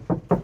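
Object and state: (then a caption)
Sound-deadened car roof panel, solid sounding. Two knocks on a car's sheet-metal roof that has been covered with butyl sound-deadening mat. Each gives a short, dull, low-pitched thud that dies away almost immediately, with no ringing. The roof now sounds solid, without the hollow vibration it had before the deadening sheets were applied.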